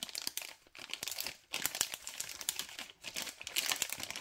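Thumb and fingers crinkle the other side of a white LDPE plastic packet of cable ties printed "organize wires... Robovac." Dense, bright, crackling crinkles with almost no low end run in bursts, broken by three brief near-silent pauses.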